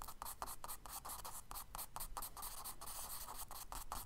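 A charcoal stick held in the fingers draws and scratches strokes across a tan kraft paper page of a spiral sketchbook lying flat on a dark table. Quick, dry scratchy strokes repeat steadily, each a brief bright rasp over a faint low rumble.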